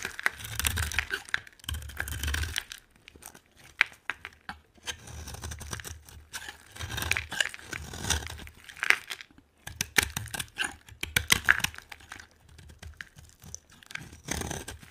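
A metal utility knife blade carves a solid brown translucent bar of dry soap with herbal bits, and crumbly orange shavings come off. The blade makes repeated bursts of crisp, bright scraping and crunching, with soft low thumps under some strokes and short quiet gaps between passes.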